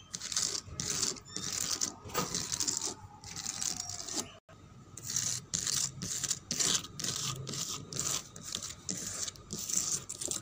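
Fingernails scratch the flat, solid top of a reddish-brown painted wooden table whose paint is cracked and dusty. The sound is a steady run of short, bright, papery scratching strokes in rhythmic bursts, with a brief silent break near the middle. There is little low-end body.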